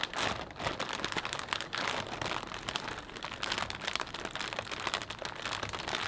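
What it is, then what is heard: Plastic bag of potato chips crinkled. Fingertips press, pinch and rub the film of a full, transparent plastic bag of potato chips, crinkling it and shifting the chips inside. The result is a steady stream of dense, bright crackles and crunches with very little low end, each snap dying away almost instantly.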